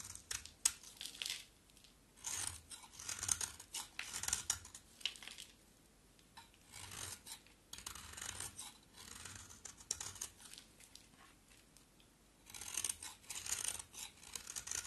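A rectangular solid pink bar of soap, held in the hand, is shaved with a box cutter blade, peeling off pink shavings. Bright, dry scraping strokes come in bursts of several quick rasps, separated by short quiet pauses.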